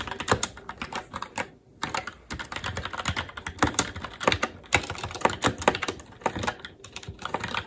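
A SteelSeries Apex 7 TKL mechanical keyboard with Red switches, black plastic keycaps on a metal plate, and a hollow case with RGB backlight rests on a desk while both hands' fingertips type continuously on the keys. A steady run of quick, bright plastic clacks and taps dies away almost instantly, with a brief pause near the start before the typing resumes.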